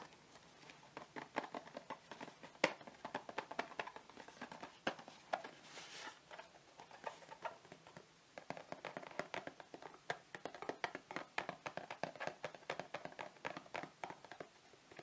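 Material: Cardboard.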